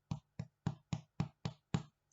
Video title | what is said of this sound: French Baguettes | if they sound hollow they are cooked